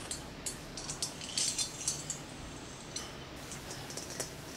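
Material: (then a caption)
Glass. Fingertips with short nails and rings on the fingers tap quickly on a large hollow clear glass plasma ball with an inner electrode. The result is a run of bright, clicky taps with a high glassy ring over a steady low hiss.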